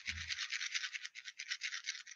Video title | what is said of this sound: SAVING OKRA SEEDS LIVE | it is dried and if you shake it you'll hear the seeds inside